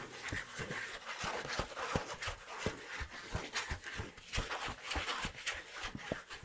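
A thin, flat tan kraft cardboard sheet (or kraft paper envelope) is held up close and scratched with fingernails. It makes a dense, dry rasping with bright hiss, broken by quick strokes that each add a soft low thump. The scratching runs steadily at a low, even volume throughout.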